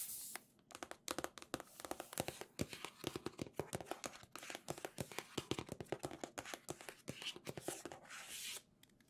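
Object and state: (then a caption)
Cardboard box, tapped and scratched. A medium red Nintendo-branded cardboard box for a Legend of Zelda OLED, hollow and with contents inside, is held in both hands and tapped and scratched with long nails. Quick, dry taps with a hollow mid-range thud come in a rapid, uneven series, mixed with brief crisp scratching bursts. Each tap dies away almost instantly, and the overall level stays quiet.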